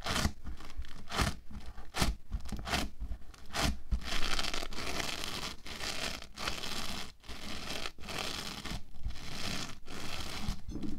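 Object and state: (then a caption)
Foam bead clay being rolled and rubbed. Orange foam bead clay is rolled into a solid log, then pressed and rolled under fingertips and palms and rubbed against a table. Dense, crackly scratching and rasping textures come in repeated bursts, with a steady low rumble underneath and brief bright edges on each push.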